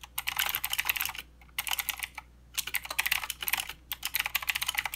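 Both hands type with the fingertips on a plastic mechanical keyboard with plastic keycaps and blue switches. It makes rapid, bright, clicky keystrokes in four quick bursts separated by short pauses. Each click is sharp and dies away almost instantly.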